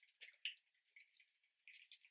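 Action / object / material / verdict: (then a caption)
shake / small bottle of face primer / liquid / none. A 40 mg container of Refy Glow and Sculpt face primer is shaken, making faint, high-pitched, drip-like sloshing and ticking sounds in short, uneven bursts. The sound shows the contents are liquid.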